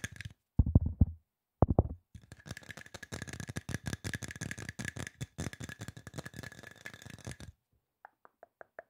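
Quick fingertips tap on a hollow silver aluminum spray bottle. A few heavy, low hollow thumps come first, then a dense run of fast, uneven taps with a faint steady ring underneath. It ends with several light, separate taps.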